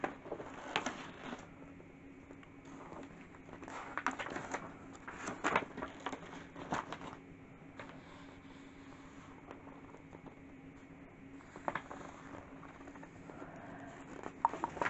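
Fingertips with dark-painted nails brush, rub and scratch across the paper pages of a large, open, spiral-bound London street atlas lying flat on a table, working near the wire spiral binding. Soft, dry paper rustles and scratchy crackles come in clusters over a quiet, steady background hum, with brighter scrapes standing out now and then.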